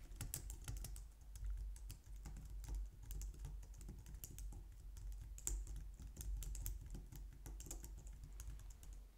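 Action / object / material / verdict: tap / plastic computer keyboard / plastic / none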